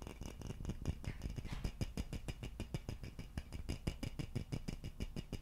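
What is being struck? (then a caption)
Hollow wooden vase. Fingertips and nails scratch and tap the neck of a hollow wooden vase with an empty opening. The result is a quick, uneven run of short, dull, low knocks with faint bright scratching between them, each tap dying away almost at once.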